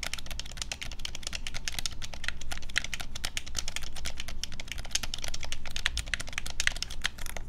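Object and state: Plastic game controller, button tapping.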